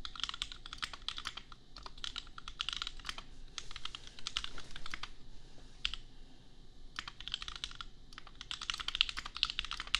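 Fingertips of both hands type on a compact $250 custom mechanical keyboard with Gateron Milky Yellow switches and red/pink plastic keycaps. A steady stream of short, bright, clacky keystrokes with almost no ring runs throughout, over a faint low hum, with a brief lull around the sixth second before typing picks up again.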